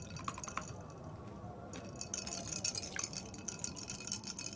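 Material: Glass.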